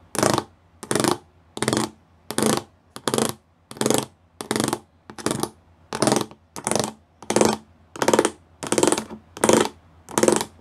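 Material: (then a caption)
Plastic. Fingertips and nails tap across the rows of small square pyramid studs on a flat grey plastic sheet. Fifteen short, evenly spaced bursts of bright, scratchy clicking sound, each about half a second long, with a faint hollow plastic tone underneath and near silence between them.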